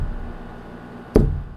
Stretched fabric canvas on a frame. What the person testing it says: now it sounds like a drum it has a drumming sound to it instead of a flat hollow sound